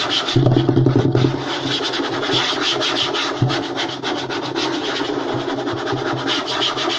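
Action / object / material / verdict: scrape / light wooden tabletop / wood / none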